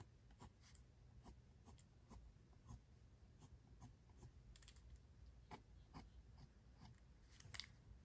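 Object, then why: Graphite pencil on sketchbook paper. The graphite tip of a pink mechanical pencil scratches short strokes across a face sketch on a white paper page of a spiral-bound sketchbook, with the hand holding the page steady. Quiet, dry scratching comes as a series of brief, bright strokes over a soft low rumble, each stroke ending abruptly without ring.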